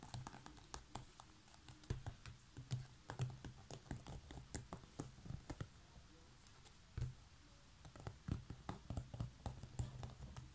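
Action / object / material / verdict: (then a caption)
tap / woven straw basket lid / straw / none. Long fingernails scratch and tap a coiled woven straw or seagrass basket lid with a knob, making quick, dry clicks and scratchy rustles with a soft, low thump beneath them. The taps come in an irregular, uneven rhythm, with brief pauses, and each one dies away almost instantly.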